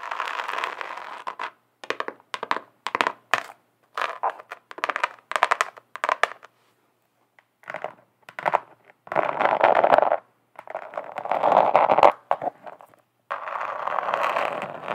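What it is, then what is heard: Glitter-covered notebook scratched with nails. Long acrylic nails on both hands scratch the chunky glitter surface of a flat rectangular notebook. It starts with quick, choppy bursts of gritty scratching separated by short pauses, then settles into longer, steady rasping strokes. The tone is dry and midrange with a bright, crackly edge.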